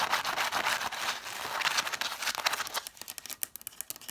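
Long nails and fingertips quickly tap and scratch the spines of a solid stack of red cloth-bound vintage hardcover books, spines facing out. A dense, bright scratching rasp fills the first few seconds, then gives way to sharp, quick, separate taps with little ring.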